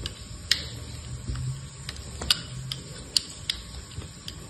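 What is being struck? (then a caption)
Soap bar cut with a knife blade. A hand-sized solid bar of dried soap, with a blue outer layer and a grey-white core, is held in one hand and shaved and cut with the blade of an orange-handled utility knife. Nine sharp, bright, scratchy clicks stand out irregularly over a quiet, low rumble as chips crumble off the bar.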